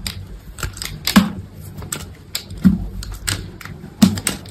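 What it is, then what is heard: Bar soap being cut. A small, solid white bar of soap held in the fingers is cut and split with a utility knife blade. Quick, crisp scraping clicks repeat unevenly, and three louder, duller snaps mark where the block cracks apart.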